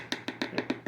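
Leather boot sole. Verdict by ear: Hard.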